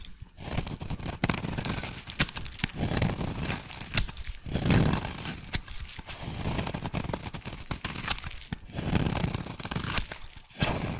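A solid oval yellow soap bar held in one hand is shaved with a metal blade into fine yellow shavings. The sound is a steady run of dense, close scraping and tearing with crisp crackles, warm and full in the low range with a bright, hissy top. It swells in a few longer passes before a short pause near the end.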